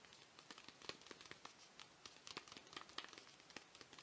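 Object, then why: Paper tea bag sachet. Fingers crinkle a small, flat, printed paper tea bag envelope held in both hands and scratch it with their nails. The result is a quiet, steady run of dry, crisp crinkles and sharp little scratches, bright and high-pitched with almost no low end. Each tick cuts off instantly with no ring.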